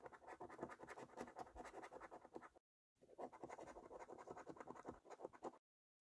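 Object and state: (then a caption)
Scratch card being scratched with a coin. The edge of a metal coin held in the fingers scratches the silvery latex coating off the game boxes of a flat, thin, printed paper lottery scratch card lying on a surface. Quiet, rapid rasping scrapes run in two steady bursts, the first broken by a short silence just before the three-second mark and the second by another silence before the end. The sound stays mostly in the midrange, with little deep or bright content.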